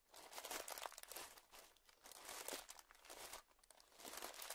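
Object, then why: Clear plastic zip-lock bag. A small, clear plastic zip-lock bag, partly filled or puffed up and lying on dark fabric, is pressed and crinkled by the fingertips of both hands. Soft, bright crinkling rises and falls in several uneven waves, with almost no low end and quick-fading crackles.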